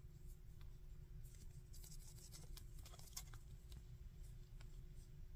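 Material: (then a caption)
Hard plastic. A small hard-plastic articulated Cell action figure with a plastic wing piece is held in both hands while fingertips move its joints and rub its surface. Quiet, bright clicks and dry scratchy taps come in quick irregular bursts over a steady low hum.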